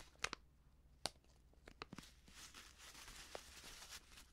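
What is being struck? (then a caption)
Plastic seasoning pouch. Fingers crinkle and fold the top edge of a medium, filled, white plastic Prix Garantie seasoning bag. Six sharp, bright crackles stand out over the first two seconds. They give way to a softer, steady crinkling rustle that fills the rest of the quiet clip.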